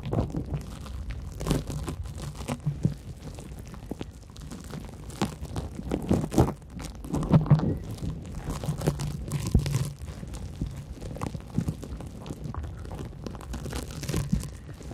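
A large, porous yellow cellulose sponge is held against microphone windscreens and scratched with long acrylic nails. The result is a steady, muffled, low-heavy crunching and crinkling with soft rasping bursts throughout, swelling louder in several stretches, with very little high or bright content.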